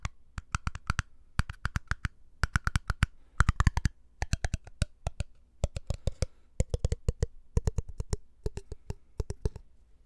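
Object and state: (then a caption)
Empty glass jar. Fingertips tap the glass body of a small, empty glass jar with a black lid as it is turned in the hands. Quick clusters of short, crisp taps come in bursts with brief pauses between them. Each tap has a soft low thump and a faint glassy ring that shifts from a higher tone to a lower one partway through.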